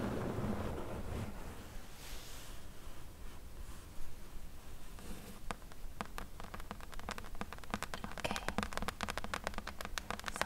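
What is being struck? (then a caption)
Closed corrugated cardboard box. Long nails tap rapidly on the top of a closed, hollow corrugated cardboard box, then tap along its top edge. After a soft, low rustling start, a quick run of short, dry, hollow taps with bright clicky edges builds and grows denser toward the end.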